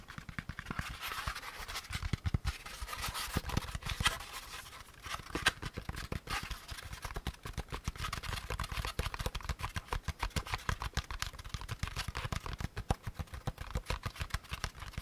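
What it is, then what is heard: Molded pulp packaging insert. A hand-sized, hollow, empty beige molded paper pulp packaging insert is held in both hands while fingertips tap and scratch its underside and edges. Rapid, dull, low taps overlap a continuous dry scratching rasp with a papery, bright edge. Each tap dies almost instantly, with no ring.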